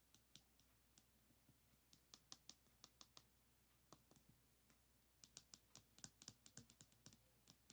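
A pink plastic pen is rolled and pressed lengthwise across a small, flat Provence lavender diamond painting board covered in tiny solid resin rhinestones, lying on a wooden table. About 28 quick, bright clicks and rattling taps come in irregular bursts, each dying away almost instantly over a quiet low hum.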